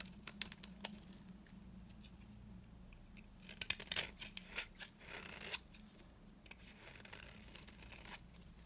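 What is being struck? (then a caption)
Round soap bar scraped with a metal blade. A metal cutter blade scrapes curls from the surface of a solid, dry, round green soap bar held in the hand. The result is a series of quiet, dry, bright scraping and crackling strokes. The strokes come in bursts, with the densest cluster in the middle of the clip, over a low steady hum.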